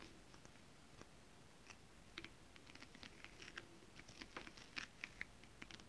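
Long acrylic nails on both hands tap across flat, iridescent foil scale-print stretch fabric in a holographic mermaid scale pattern. The result is a quiet, irregular patter of short, dry, bright clicks that die away instantly, over a soft low hiss.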